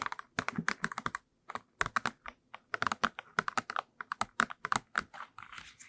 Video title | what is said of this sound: ASMR - Reading you my book & trigger assortment (tapping, crinkles, soft spoken) | tapped on this book because i thought it sounded quite nice like it's crisp